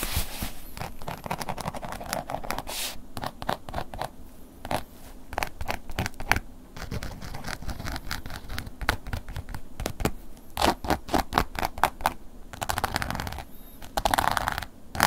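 A wooden ear pick scratches a black woven-embossed leather long wallet lying flat. Dense, dry scratching strokes come in quick bursts with short pauses between them, each a brief crackle with no ring. A steady low rumble sits underneath.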